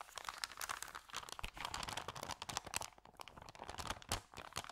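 Hands hold an empty white paper Subway sandwich bag with yellow print while the fingers bend and crinkle its folded edges. The result is a dense run of crisp, dry crackles and crunches, bright and papery with little low end, each snap cutting off almost at once.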